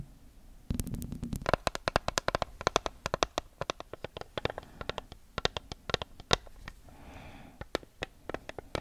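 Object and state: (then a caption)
Paper sticky note pad. A small neon-yellow block of paper sticky notes, a solid stack held close to the mic, is flipped and scratched with long acrylic nails. Crisp, sharp paper ticks and flicks crackle in quick, irregular bursts over a low background rumble, with a softer rustling scrape near the end.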